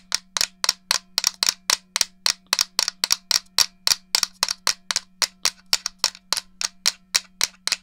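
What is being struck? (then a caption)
Plastic game controller shell. Fingertips and long nails tap and rub the shell of a black and silver hollow plastic GameCube controller held near the mic. About 30 crisp, bright clicks come in a quick, uneven rhythm, each dying away almost at once over a faint steady low hum.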